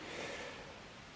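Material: Nothing is struck.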